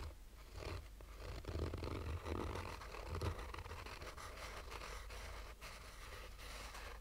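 Fingernails of both hands scratch a black, oval, textured fabric-covered sunglasses case with a hollow, rigid hard shell. The result is a soft, continuous rasping scratch over a low, hollow rumble, with gentle swells as the strokes move across the surface.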